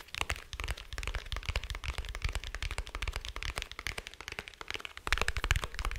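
Fingertips and nails tap along the shell of a small, dark, rigid, hollow glasses case held in one hand. Rapid, dry clicks and knocks with a low, hollow thump fall in a quick, continuous stream, each dying away almost instantly. The tapping grows louder over the last second.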